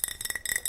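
Fingernails tap and scratch on a large wide-mouth Ball glass mason jar holding cotton balls. A quick series of light, bright glassy clinks and ticks rings high and dies away almost at once.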